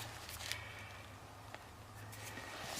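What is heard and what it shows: A rubber ATV tire is picked up and shaken to check for loose debris before a new tube is installed. Only soft rubbing and a few faint ticks are heard over a steady low hum, with no rattle, so the tire is empty and nothing is loose inside.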